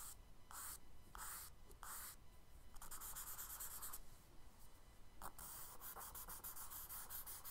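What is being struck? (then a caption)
Charcoal stick on kraft paper sketchbook page. A charcoal stick held in the fingers is stroked across the tan kraft paper page of a spiral-bound sketchbook lying flat on a dark wooden desk, shading water under a paper-boat drawing. Repeated scratchy rubbing strokes make bright, hissy bursts, spaced apart at first and then coming faster and denser. The page scratching stays soft, with a low steady rumble underneath.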